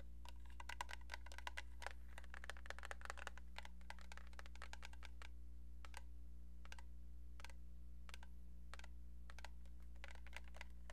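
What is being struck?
Plastic telephone handset.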